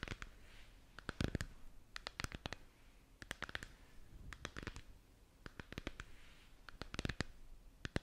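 Long nails tap and scratch the surface of a lit, hollow, translucent plastic moon lamp sphere held up in both hands. Quick clusters of sharp, dry clicking taps come in bursts, with soft, hissy scratching between them. Each tap stops almost at once with no ring.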